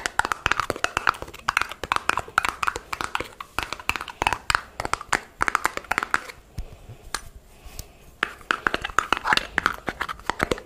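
Long nails and fingertips rapidly tap and scratch the body and red screw cap of a small, empty, clear plastic jar held in both hands. Dense bursts of sharp, dry clicks ring around the mid-range with bright edges and almost no low end. A quieter lull falls in the middle before the quick tapping resumes.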